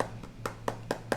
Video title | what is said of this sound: This iPad 5th Gen was never updated! | it sounds very Hollow to tap on